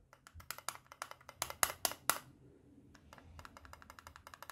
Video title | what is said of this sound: Kriemhild Mod by Vapefly & German 103 Review | There's a bit of rattling going on. And that's purely just because there's nothing to hold this part of the battery pack up.